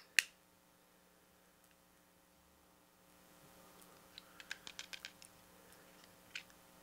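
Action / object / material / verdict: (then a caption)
tap / plastic pocket calculator / plastic / none. Fingertips and nails tap and scratch the casing and rubber keys of a small, hollow, grey-silver plastic handheld pocket calculator with a flip-up lid, and a thin pin-like tool scratches its ridged side edge. One sharp, bright click is followed by a quiet pause, then a quick run of light, dry ticks and one last tap. The clicks are crisp and die away instantly over a faint steady hum.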